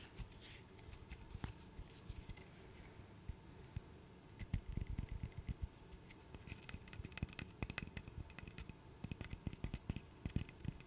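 A small, solid, light-wood interlocking stick burr puzzle is held in both hands while fingernails scratch and tap along its pieces. The sound is quiet, with soft scratching under many quick, dull, low clicks that die away almost instantly. The tapping grows denser and louder from about four and a half seconds on.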